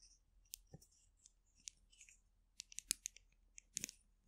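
A small, colourful polka-dot plastic glue stick, a hollow capped tube, is held in both hands above a microphone and scratched and tapped along its barrel with long acrylic nails. About twelve quiet, bright clicks and scratchy taps come at an uneven pace, each dying away almost at once. A couple of them carry a soft low thump.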